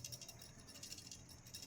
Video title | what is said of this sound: Samsung Refrigerator cooling problem-Samsung Relay Replacement-Relay aur OLP kaise test kare. | इसमें से OLP की हल्की सी आवाज आ रही है, लेकिन जो रिले का जो सिक्का है ये सिक्का सही है।